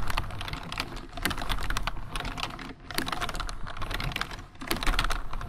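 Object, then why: Plastic computer keyboard. Fingertips of both hands type continuously on a full-size black plastic computer keyboard. The result is a rapid, steady stream of bright key clicks and clatter over a low background hum, with brief lulls near 1, 2.7 and 4.5 seconds.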